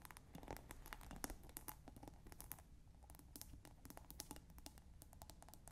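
Long nails quickly scratch and tap the rim and top of a plastic scent pod capping a clear glass bottle partly filled with water. The result is a steady run of dry, bright clicks and scrapes, each dying out almost at once, over a soft low rumble.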